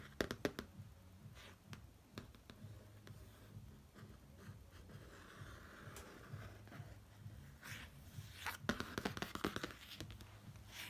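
Fingertips and short nails trace and rub over the flat, rigid, glossy pop-art cover of a large laminated cardboard hardcover notebook lying on a bedsheet. A soft, steady scratchy rubbing runs throughout, broken by quick, sharp little taps and clicks at the start and again near the end.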